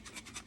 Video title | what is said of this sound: Grow Sprouts! | You can hear them separating.